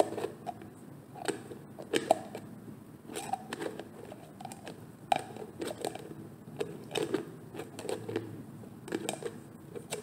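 Fingertips with painted nails twist and tap at the screw lid of a medium, hollow, orange-labelled plastic cosmetic jar whose contents are not visible. The result is a steady run of quiet, dry clicks, taps and scratchy nail scrapes. Each sound dies away almost instantly, with a light hollow tone around 660 Hz.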